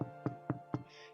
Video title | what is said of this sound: Sourdough Master Class Episode 4: The Bake | it sounds Hollow like there's not something underneath it right sounds like there's a little bit of space with some air in there